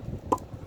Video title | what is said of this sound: SEASONING FIREWOOD - HOW TO TELL IF YOUR WOOD IS DRY | when you knock them together, you can hear the sound. It's low pitch.